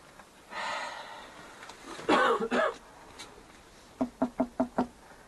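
Five quick knocks strike a wooden wall, each giving a short, dull, hollow-sounding thud, after some earlier muffled bumps and noise. The wall is hollow, with an empty space behind the wood.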